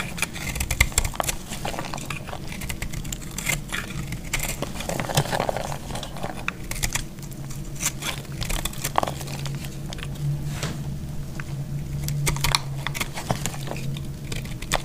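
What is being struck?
Bar of soap scraped with a metal blade.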